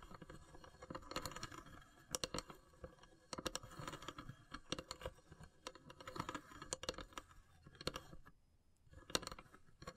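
Long silver nails tap and scratch across the pierced lid of a long, hollow, carved wooden incense box. The sound is a quiet stream of sharp, dry clicks and brief scratchy rasps with a hollow woody tone. Bright spikes rise above a faint rustle, with small pauses between clusters.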